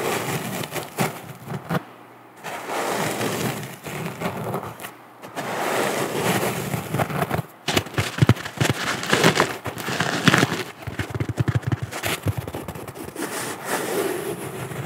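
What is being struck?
Natural sea sponge scratched with fingernails.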